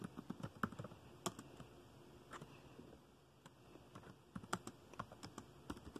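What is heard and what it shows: Fingertips of both hands tap the keys of a dark plastic laptop keyboard while typing. Irregular, soft, clicky key taps with very short decay come in quick bursts, with a quieter lull around the middle of the clip.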